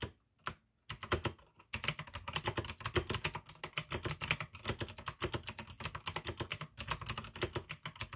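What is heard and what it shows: Fingertips type fast on the keycaps of a full-size pink AUKEY plastic mechanical keyboard with RGB backlight, clicky blue switches and a hollow case. After a couple of isolated clicks, a rapid, continuous run of sharp, bright clicks follows, each with a short hollow low thump that dies away almost instantly.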